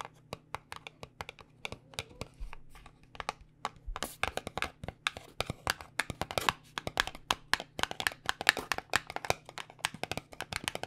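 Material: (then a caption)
Paperboard. Long nails tap rapidly on the faces of a small white paperboard cosmetic box held in both hands, producing dozens of crisp, dry clicks. Each tap is short and bright with almost no ring, over a faint steady low hum, and the tapping grows denser and louder after the first few seconds.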